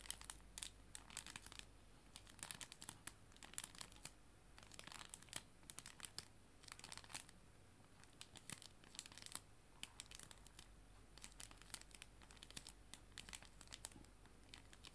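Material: Plastic film.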